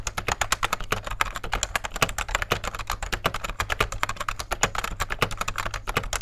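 Fingertips of both hands type continuously on a beige, full-size vintage plastic rubber dome keyboard with a hollow case. The result is a rapid, steady stream of soft, clacky key taps with a slightly hollow tone, over a faint, steady low hum.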